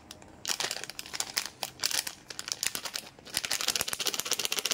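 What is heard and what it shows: A small, colorful Cadbury Gems plastic-foil candy pouch filled with candies is held in both hands and crinkled with the fingertips while being torn open. The result is bright, crackly crinkling in rapid clusters of sharp rustles with a brief quieter pause partway through.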